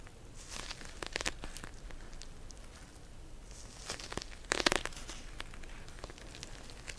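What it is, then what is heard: Plastic gel bead cold pack. Long nails scratch and tap a pink plastic pouch full of gel beads, a cold pack, making soft crinkling and crackling scrapes. Sharp, bright taps stand out in a quiet background, with a louder burst of crinkly scratching near the end.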